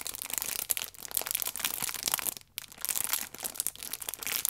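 A small, filled pack of paper baking powder sachets wrapped in clear plastic film is turned over in the hands while long nails scratch it and fingertips squeeze the wrap. The result is a dense, bright crinkling and crackling, almost all high-pitched, with a brief near-silent pause midway.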